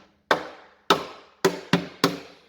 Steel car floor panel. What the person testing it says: the floor's got some strength in it now. It sounds solid